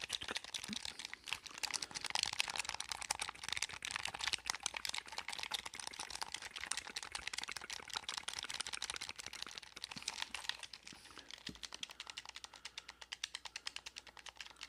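A blue hollow plastic gamepad with a cable is held in both hands while fingertips rapidly press and click its buttons. A dense, fast stream of dry, bright plastic clicks fills most of the clip and thins into more spaced-out taps near the end, with no ringing and almost no low end.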